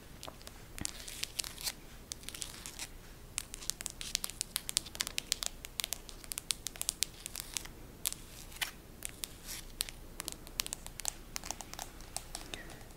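Extra-long pointed acrylic nails tap and scratch the back of a handheld smartphone in a green printed hard plastic case with a photo insert on the back. Dense, quick, bright clicks and scraping crackles run steadily throughout with no ring, over a quiet low hiss.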